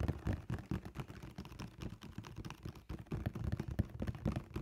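Fingertips and nails tap and scratch the flat face of a large, hollow black printed cardboard sneaker box held upright. Rapid, irregular, dull taps with a low, hollow body ring out alongside soft scratching, each tap dying away almost at once.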